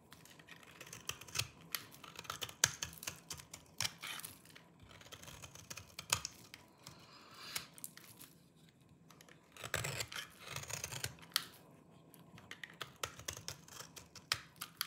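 A small knife cuts and scrapes a solid, dry green oval soap bar held in the palm, carving it deeply into flakes. The sound is a quiet run of crisp, bright, dry clicks and crunchy scrapes with no ring, with a denser burst of scraping partway through.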